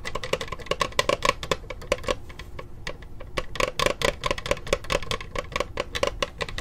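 Long acrylic nails tap and scratch the textured plastic lid of a closed black laptop with a small sticker, held upright near the mic. Dozens of quick, sharp clicks with a ringing tone around 1 kHz come in uneven bursts, with a softer scratchy stretch in the middle.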